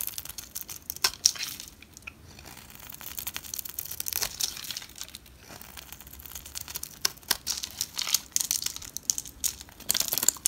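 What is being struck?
Bar of soap scraped with a knife blade.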